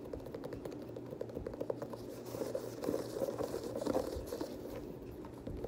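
A black and teal Air Jordan 6, a hollow leather sneaker with a leather and nubuck upper and a translucent rubber sole, is tapped and scratched by fingertips and short nails while the laces are handled. The result is a quiet, dense run of short, dry taps and scratchy rustles that centre in the low-mid range around 500 Hz and die away almost instantly.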